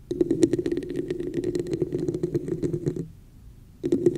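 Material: Plastic.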